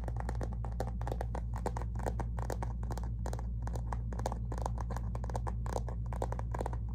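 Fingernails on both hands rapidly tap and scratch near the lower edge of a flat, thin, hollow rose-gold metallic faux leather zip cosmetic pouch with printed branding. The dense, irregular clicks and scrapes run continuously over a steady low hum.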